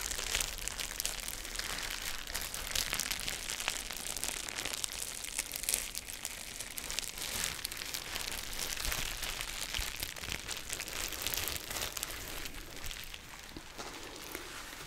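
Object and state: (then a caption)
Plastic bubble wrap being crinkled. A clear plastic bubble wrap sheet is held up and rubbed and crinkled with fingertips and nails, then pressed flat on a table with fingertips. The result is a steady, dense, bright crackling with dry, quick-decaying crinkles throughout, and it grows slightly quieter toward the end.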